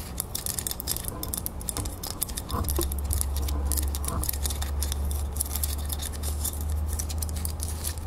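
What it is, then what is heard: Brass crown plaque tapped with nails. Long fingernails rapidly tap and scratch the raised surface and edges of a small, solid brass crown-shaped decorative plaque held in the fingers. The result is a steady patter of quick, bright clicks and scrapes over a low background hum.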